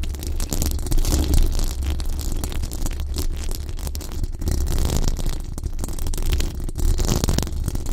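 Long dark acrylic nails on both hands scratch the hollow, dome-shaped metal mesh grille of a large pink, sticker-covered condenser microphone. The result is a dense, continuous scratching and rustling with a heavy, boomy low rumble and only faint high crackle, holding steady in level throughout.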